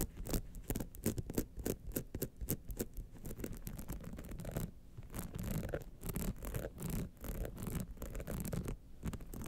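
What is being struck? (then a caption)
Rhinestone-studded clutch wallet. Long nails scratch and tap on a gold rhinestone-studded clutch wallet near its jeweled clasp and lower edge. A steady stream of quick, dry scratches and sharp clicking taps fills the clip, with a soft low body under bright, crisp ticks that die away almost instantly.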